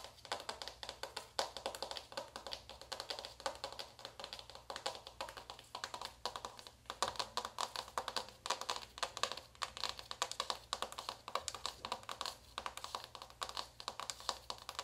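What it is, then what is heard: Cardboard eyeshadow palette. A small closed navy cardboard eyeshadow palette is held in one hand while long white acrylic nails tap its cover quickly. Dense, rapid, dry clicks with a bright, papery texture run throughout the clip, each one dying away almost instantly.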